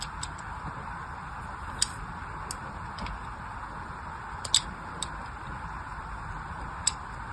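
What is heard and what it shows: A small blade cuts thin grooves into a solid orange glycerin soap bar, already partly cut and held in the hand. Short, crisp, bright scratching clicks come at irregular intervals over a steady, hissy background, with a few sharper cuts standing out.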